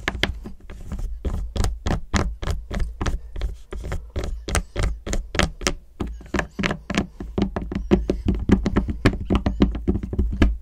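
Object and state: Milk chocolate bar tapped with fingernails.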